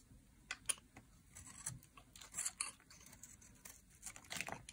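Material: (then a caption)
Soap. A metal blade carves curls off the edge of a dry, solid teal laundry soap bar embossed with a 72% mark. Quiet, bright, crisp scraping and short dry crackles come in irregular bursts, with a few sharper snaps standing out above a soft hiss.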